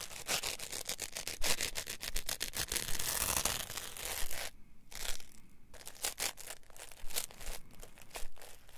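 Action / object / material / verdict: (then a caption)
scrape / polyethylene foam packing block, two halves rubbed together / polyethylene foam / none. A solid green polyethylene packing foam block, split into two halves, has its halves pressed and rubbed together by fingers and thumbs. Rapid, dense bursts of creaky, squeaky crunching with bright, broadband crackle are broken by a couple of brief quieter pauses midway.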